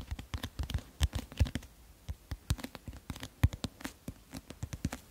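Fingernails scratch and tap the teal illustrated card cover of a solid, medium paperback book, "Le Destin du Roi...", held beside the microphone. A quick, uneven run of soft, dry taps and scratches follows, each one a short low thump with a light crisp edge and no ring. The taps sit close and quiet against a near-silent background.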